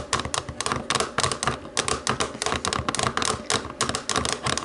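Long nails tap rapidly on the white buttons of a black plastic TV remote. The taps are quick, dry, bright plastic clicks with a tone around 1.1 kHz, coming in irregular bursts with very short decays.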